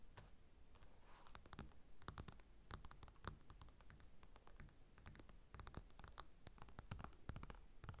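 A closed paper magazine with a glossy cover lies on a table while both hands quickly tap and scratch the cover with fingertips and nails. The result is a quiet, continuous stream of dry, sharp taps and scratchy clicks with bright edges over a low rumble, each hit dying away instantly without ringing.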